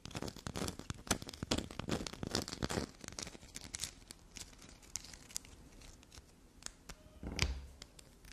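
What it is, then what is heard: Black soap bar, scraped. A solid chunk of black soap, already carved and scraped, is held in both hands while long black nails dig into it and scrape it. Dense, fast crumbly scratching and scraping fills the first three seconds, then thins out into sparser scratches with a louder burst near the end.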